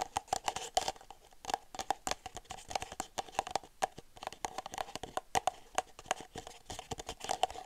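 Long nails tap the outside of an empty red disposable plastic party cup, hollow with its open end toward the mic. The taps come as quick, dry, closely spaced clicks with a faint hollow ring around 630 Hz, and they fade almost instantly.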